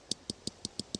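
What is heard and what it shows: Six light taps on a Titleist GT3 golf driver head give short, bright clicks, each with a sharp high ring over a soft low knock that dies away almost instantly. The head sounds premium, in contrast to a cheap-sounding Takomo driver head.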